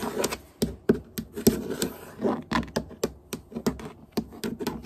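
Long fingernails tap and scratch on solid hardwood floorboards, one finger at a time. There are quick, dry clicks with short, brittle scrapes between them, in an irregular, scurrying rhythm. About eighteen separate hits are heard, each with a lower woody knock under a high, bright edge.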